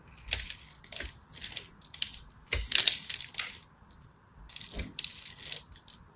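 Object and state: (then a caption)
Soap bar being scraped. A small black blade scratches across the grid-scored face of a hand-held purple and white striped solid soap bar, and flakes crack off. Short, bright, crisp crackling and scraping bursts come in quick, uneven clusters with almost no low end. Each burst dies away at once between strokes.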